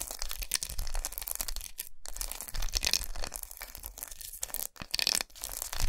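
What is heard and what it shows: Long nails tap and scratch across the segments of a large, unwrapped solid milk chocolate bar with many raised squares, resting on a towel. The sound is a fast, continuous stream of dry, crackly scratching and tapping, with bright hissy bursts over a soft low thud. Brief near-silent gaps break it up now and then.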